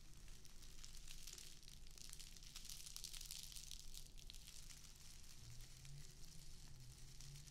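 A small square of plastic artificial grass is held in both hands in front of a microphone while long acrylic nails scratch along its edges. The result is a dense, continuous crackling and rustling with a bright, sizzle-like hiss, steady in level, over a low rumble underneath.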